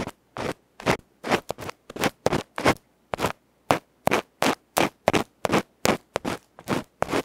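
A bamboo ear pick repeatedly scratches and scrapes the felt face of a small metal electret microphone capsule held in the fingers. About two dozen loud, dry, rasping bursts sweep across the whole range from low to bright, at an uneven rhythm. Each stroke ends abruptly into silence with no ring.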